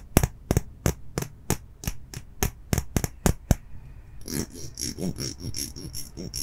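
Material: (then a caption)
Plastic. A small, solid, clear plastic comb-like object with rows of teeth is held in one hand while fingertips and nails strum and scratch across the teeth. About a dozen sharp, evenly spaced strums click out with bright, brief rattles, then the sound shifts into a denser, continuous high-pitched scratching for the last couple of seconds.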